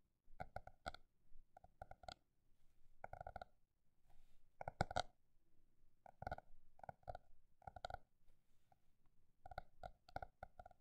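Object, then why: Paper notebook. A paper notebook is tapped with fingers in quick bursts, with short pauses between them. Each tap is dry and soft, with a hollow midrange knock and some low thump that dies away almost at once. The rhythm alternates between fast flurries and slower, spaced taps.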